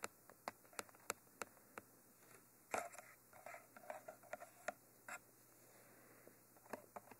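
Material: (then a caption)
Metal mesh. Fingers tap and scratch the silver cage ends of a Mitra 3D Pro, a hollow, textured black cylindrical binaural microphone. Quick, dry, bright clicks with almost no ring come in an irregular rhythm, broken by short bursts of rough scratching. It is all quiet and close, with almost no low end.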